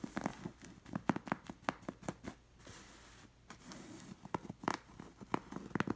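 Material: Linen fabric.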